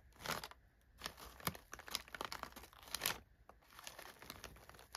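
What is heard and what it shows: Fingers press down on and rub crumpled brown kraft packing paper filling an open box. It makes dry, bright crinkling and crackling in uneven bursts with short pauses between them, fading quickly after each press.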